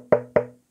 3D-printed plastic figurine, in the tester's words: ça fait un peu ton bois il ya vraiment creux je pense que vous entendez quand je tape proche du micro c'est vraiment très creux